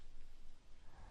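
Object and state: Nothing is struck.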